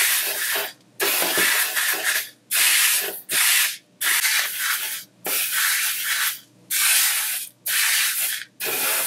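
Fingertips rub and drag through a loose pile of coarse blue, green, red and yellow sanding sugar spread on a white tabletop, drawing swirls. Nine dry, bright, granular scraping passes are separated by short silences.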